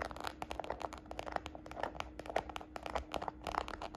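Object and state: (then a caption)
Faux leather handbag tapped and scratched with nails. Long nails and fingertips tap and scratch the textured side of a small, hollow red glossy croc-embossed faux patent leather shoulder bag held upright. A rapid, uneven series of dry, short clicky taps and crinkly scratches follows, with a faint steady low hum underneath.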